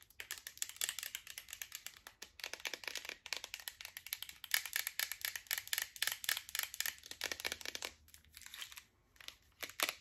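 Long nails tap and scratch a green plastic supplement bottle with a yellow cap and a paper label, holding tablets. The result is a dense, fast run of bright, dry clicks and crisp scraping, with a brief lull near the end before a few final taps.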